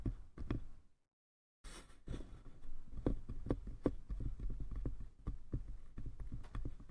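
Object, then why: Small wooden box. Fingertips tap both sides of a small hollow wooden box, giving quick, dry, low knocks with a clip-clop-like rhythm and almost no ring. After a few opening taps there is a short stretch of silence, then the tapping resumes in a steady, slightly irregular patter.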